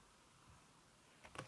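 A backlit aluminium laptop keyboard with a red silicone skin over its plastic keys is typed on with fingertips and long red-painted nails. A quiet, low hiss runs for about a second before soft, muffled key taps come in near the end, the last one the loudest and brightest.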